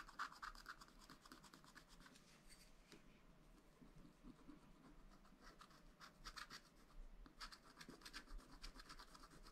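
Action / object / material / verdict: scrape / wax-coated scratch-art paper and wooden stylus / coated paper / none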